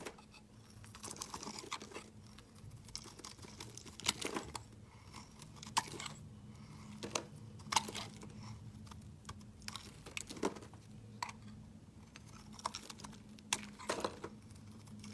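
A metal utility-knife blade shaves flakes off a hand-sized solid blue soap bar held in the hand. Quiet, crisp scraping and crunchy crinkling strokes come in irregular bursts, with sharp bright transients that die away instantly over a faint steady low hum.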